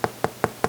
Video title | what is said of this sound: Crusty Dutch Oven Bread - Crusty & Delicious Homemade Bread Recipe - Easy & Fun Way to Make Bread! | tap the bottom and there's a nice Hollow sound and that's what you're looking for in your loaf of bread then you know that it's done